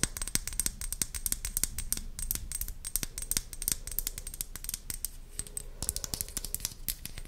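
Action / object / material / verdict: tap / small plastic pump bottle / plastic / none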